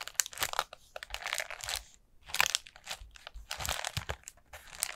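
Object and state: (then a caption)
Paper lantern being scratched and tapped. Long nails tap and scratch over the folds of a hollow, orange ribbed paper pumpkin lantern with a black plastic base. The result is a run of dry, bright crinkling and scratching bursts with brief pauses between them, with almost no low end.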